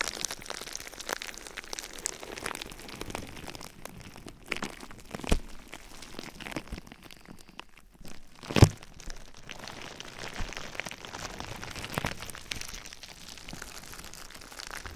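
A light, air-filled sheet of clear plastic bubble wrap, wrapped around a binaural microphone, is handled, scratched and squeezed with fingertips and nails. It produces a steady close-up crinkling and scratching texture, with two louder, sharp crackling pops standing out.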